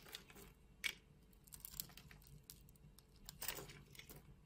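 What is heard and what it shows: A solid green bar of soap held in the hand has its surface sliced and scraped with a metal utility knife blade, with long red nails on the hand. The result is quiet, bright, crisp scraping and crackling cuts in short bursts, with the sharpest ones near the start and toward the end.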